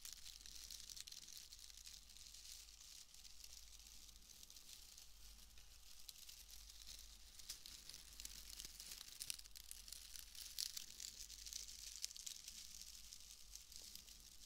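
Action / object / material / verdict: scrape / wood wool shreds / wood wool / none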